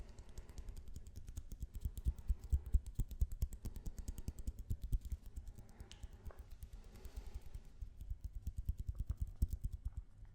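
A roll of blue tape is tapped with fast, dense, irregular taps for about ten seconds. The taps are soft, dull and low-heavy, with no ring after each one.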